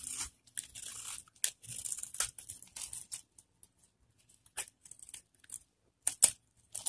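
A metal cutter blade scrapes and carves the surface of a solid, hand-sized orange bar of dry soap held in one hand, shaving off crumbly flakes. Bright, dry scraping and crunching bursts come in uneven strokes with short pauses between them. Some strokes end in sharp crackling snaps.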